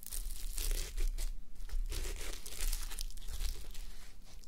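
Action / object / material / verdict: scrape / fabric sleep mask covered in plastic sequins / plastic sequins / none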